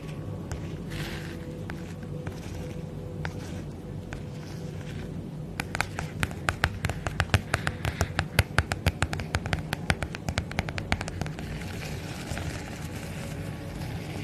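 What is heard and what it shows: Fingertips and long nails tap a holographic padded plastic bubble mailer bag held tilted. Soft, scattered taps over a low, steady hum build into a rapid run of sharp, bright clicks in the middle. The tapping then thins out again toward the end.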